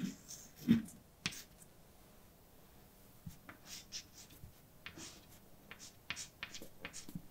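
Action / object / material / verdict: scrape / chalk on a blackboard / chalk / none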